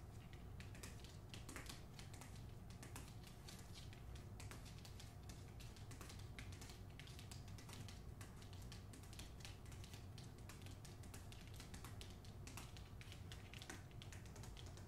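Long nails tap and scratch the front cover of a solid hardcover book, "The Hacienda," with a glossy paper dust jacket, held close. Quick, crisp clicks and dry scraping ride over a steady low hum. The tapping stays soft and continuous throughout.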